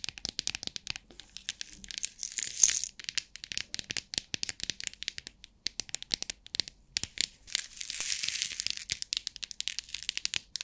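A small rectangular clear plastic compartment box with rhinestones inside is shaken upright, then tapped on its lid with long nails while it lies flat. Dense, bright clicks and rattles come in quick succession, with two longer hissing rattle bursts of the loose stones among the sharp, short taps.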